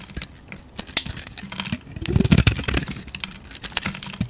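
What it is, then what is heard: Bar soap being shaved. A utility knife blade shaves thin flakes off a solid rectangular stamped Hacisakir soap bar, gold-painted on the surface and white inside, held in the hand. The shaving makes a series of short, crisp, bright scraping and crackling cuts with soft low thuds and almost no ring, the densest cutting coming in the middle of the clip.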